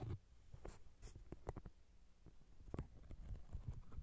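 Fingertips and nails scratch and rub the glossy cover of a thick paperback novel, a solid paper block. Quiet, low-heavy scraping and soft thuds come in short, dry bursts with almost no ring, mixed with faint brighter scratchy streaks.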